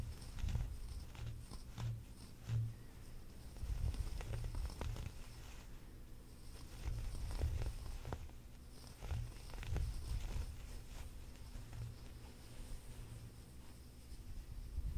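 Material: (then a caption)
Knit fabric. Fingertips and nails scratch along the ribs of a soft, flexible, light blue chunky ribbed knit sweater and grip the fabric. The result is a quiet, muffled, low-pitched rubbing and scratching with little brightness, swelling in soft irregular bursts throughout.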